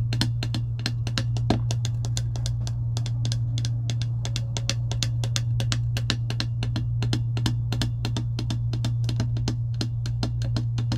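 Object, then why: Plastic tumbler lid tapped with long nails. Long acrylic nails rapidly tap and scratch a clear plastic lid on a metal tumbler, making a dense run of sharp, bright clicks with light scraping between them. A steady low hum sits underneath throughout.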